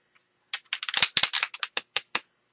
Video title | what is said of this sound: Orange you glad quick card process | you can hear the ball in it you can tell when it get stuck